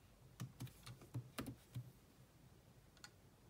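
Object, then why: Plastic laptop keyboard keys. Long manicured nails and fingertips type on a grey laptop keyboard with black plastic keys in a metal-look chassis. A quick run of soft, dull plastic taps and light clicks arrives in an uneven burst, then a lone tap follows after a pause. Each tap dies away almost at once.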